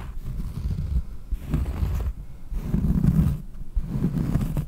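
A large, round, solid cork trivet is held close while long painted nails scratch across its textured surface. The result is dull, low scratching in bursts separated by brief pauses, with almost no bright content.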